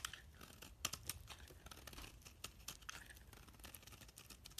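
A metal knife blade held in hand shaves a solid purple bar of soap with a green rim into flakes. The quiet scraping comes as a dense run of crisp, bright crackles and sharp ticks, with a low rumble underneath.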